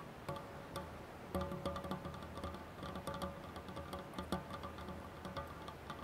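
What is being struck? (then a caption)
Stainless steel saucepan rim. Fingertips and nails tap the rim of an empty stainless steel saucepan with a black handle resting on a cloth. They produce a quiet, irregular series of light ticks, each carrying a brief chime-like ring with a low fundamental and clear overtones. Each ring fades quickly between taps.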